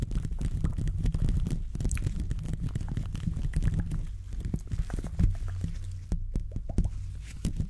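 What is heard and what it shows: Gloved fingertips scratch and rub the top of the hollow metal mesh grille on a silver condenser microphone throughout. The result is a dense, continuous scratchy crackle with a heavy, boomy low rumble and a few short, sharper scrapes. It stays at a fairly steady level, with a brief quieter dip near the end.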